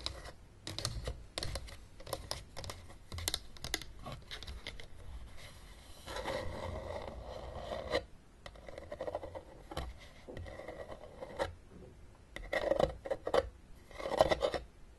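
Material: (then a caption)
Plastic. Long painted nails tap and scratch the ribbed top and sides of a closed, hollow, blue plastic travel Battleship case, about the size of a book, lying on a table. Quick, dry clicking taps alternate with stretches of raspy scratching, including a steadier scrape midway, and a few louder taps come near the end.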